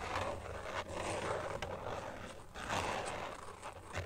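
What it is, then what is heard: Carbon-fibre-pattern phone case, tapped and scratched. Fingertips and nails tap and scratch the woven carbon-fiber pattern back of a thin, hollow, empty phone case with a small red badge, then move to its inside and rim. The result is a quiet, continuous dry scratching and rustling centered in the midrange, with soft taps and brief dips between strokes.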